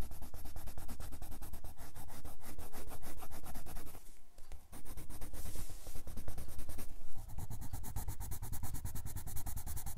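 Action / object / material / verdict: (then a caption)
scrape / colored pencil on a paper sketchbook page / paper / none. A red colored pencil held in the fingertips rubs a grey paper sketchbook page with fast, dense strokes, making a continuous, rhythmic scratching on the paper. The strokes ease briefly around the four-second mark, then resume just as quickly.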